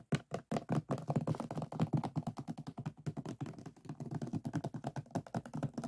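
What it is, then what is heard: Resin diamond painting. Fingertips and nails scratch and tap across the resin drills of a finished diamond painting lying on a flat board. The result is a rapid, uneven stream of short, dull, muffled clicks and thunks with almost no ring, weighted toward the low end.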